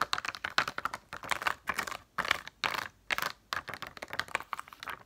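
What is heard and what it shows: A sheet of plastic pop-up dome stickers is held upright in both hands while long nails tap rapidly across the domes. The result is bursts of dry, bright, clicky plastic taps, like fast typing, separated by brief pauses. Each tap is crisp and dies away instantly.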